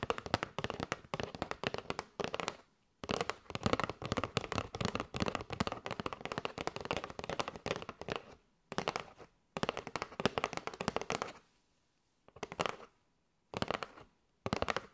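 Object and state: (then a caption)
Cardboard box of paper straws. Long nails tap rapidly on a kraft cardboard box with a window, full of paper straws. The result is dense bursts of dry, crackly clicks with a bright edge that die away almost at once, broken by short silent pauses.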